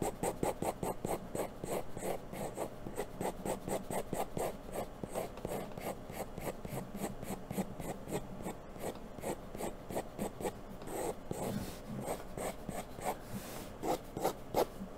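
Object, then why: Graphite pencil on a paper sheet. The graphite tip of a wooden pencil rubs and scratches across a thin sheet of white drawing paper resting on a brown board, drawing long hair strokes. A steady, rhythmic series of soft, papery scratching strokes repeats throughout, each a short rasp with bright hiss over a dull low body.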